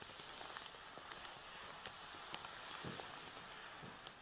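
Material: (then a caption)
Nylon. A black nylon Hama carrying bag holding a tripod, lying on a table, is rubbed and scratched with the palms and fingertips. The result is a steady, soft hiss of fabric friction dotted with faint, brief scratchy ticks.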